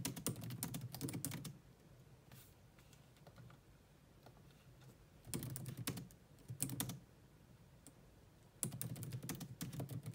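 A grey laptop keyboard with low-profile plastic keys is typed on with long nails, at times with both hands. Quick bursts of light clicky tapping from about 0 to 1.5 s, 5.3 to 7 s and 8.6 to 10.2 s are separated by quieter stretches.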